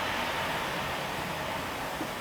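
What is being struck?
Nothing is struck.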